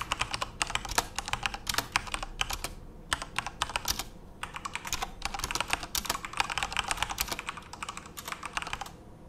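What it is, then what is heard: Plastic mechanical keyboard. Both hands type rapidly with their fingertips on a Corsair mechanical computer keyboard with plastic keycaps and RGB backlight, resting on a desk. The result is a dense stream of sharp, bright plastic clacks with short pauses, each keystroke dying away almost instantly.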